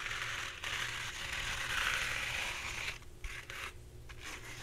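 Long red-painted nails scratch the surface of a full roll of soft, hollow-cored white embossed paper towels held upright and sideways. The result is a steady, bright, papery scratching hiss that fills the first three seconds, then turns quieter and patchier with brief pauses between strokes.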